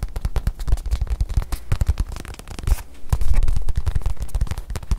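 Long nails tap and scratch the face of a small stuffed white leather watch pillow held in one hand. A rapid, uneven run of dull, low thuds mixes with soft scraping, with each tap dying away almost instantly.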